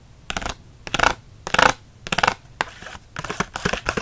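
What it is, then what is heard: Plastic blister pack scratched. Fingernails scratch fast across the hard clear plastic bubble of a card-backed blister pack holding six Micron pens. The sound is a run of bright, crackly, rasping bursts, each under a second long, separated by short quiet gaps in an uneven rhythm.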